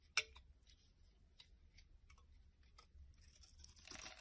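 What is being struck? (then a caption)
Bar soap shaved with a knife blade. A utility knife blade scrapes and shaves thin curls off the surface of a solid rectangular yellow bar of soap held in the palm. A sharp, bright crack opens the clip, followed by quiet, scattered high-pitched scraping strokes. These build into a denser, continuous shaving rasp at the end.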